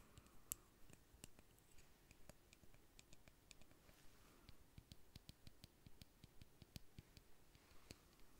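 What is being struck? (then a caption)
Plastic lip gloss tube. Fingernails tap and click on a small, slim pink-red plastic lip gloss tube filled with product. The result is a quiet, irregular run of short, dry clicks with bright, high edges over a soft low rumble.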